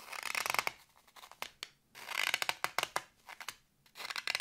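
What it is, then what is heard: Floral foam block scratched. Fingertips and nails scratch the top surface of a solid green floral foam block with carved letters, held in the hand. Bright, dry crackling bursts of scratching alternate with sharp, quick clicks and brief quiet gaps, with almost no low end.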